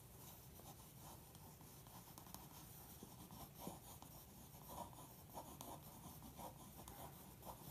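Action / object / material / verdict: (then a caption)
scrape / glossy paper magazine page and pencil / coated paper / none. A pencil point is dragged across the printed page of an open glossy paper magazine lying flat, scratching and tracing outlines. Soft, continuous scratchy strokes sit over a low steady hum, with six brief louder scrapes standing out along the way.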